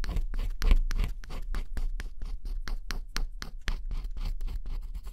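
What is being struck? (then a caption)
Cardboard puzzle with scratch-off coating scraped by a wooden stick. A pointed wooden stick scratches the black scratch-off coating off a small area of a flat cardboard jigsaw puzzle, revealing blue underneath. Quick, dry scraping strokes repeat in a steady rhythm, each a short, bright rasp over a low hum.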